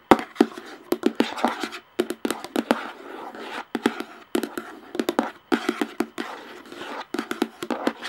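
Long painted nails tap and scratch the top of a large, hollow screw-on plastic lid on a clear plastic jar. Sharp, dry clicks come in quick bursts over a soft scratchy rustle, with a hollow tone around 340 Hz. Each tap dies away almost instantly, and short pauses fall between the bursts.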